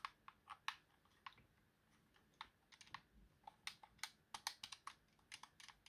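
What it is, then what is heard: Plastic game controller buttons. Fingertips press and tap the buttons and thumbstick of a white, hollow plastic Xbox game controller, with the hand covering part of it by the end. About 21 quiet, short, bright plastic clicks and taps come in an irregular rhythm, each dying away almost at once with very little low end.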